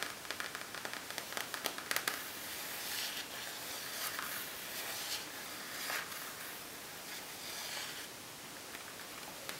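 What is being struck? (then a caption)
Plastic makeup bag. Fingernails tap and scratch across a plasticky makeup bag from Hema with a colorful sprinkle design. Quick, crisp clicks come first and then give way to a steady, hissy scratching rustle that is mostly high-frequency.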